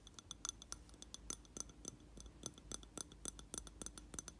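A lit candle in a round glass jar filled with wax is tapped on its glass wall with fingertips and nails. The result is a quick, irregular run of short, bright clinks and ticks over a low, steady background hum. Each tap dies away almost at once.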